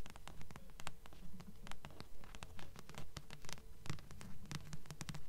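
Long nails tap and scratch the glossy front cover of a thick blue paperback book with solid paper, held upright in both hands. Quick, steady taps with a dull low thud alternate with bright, crisp scratching strokes, and each hit dies away almost at once.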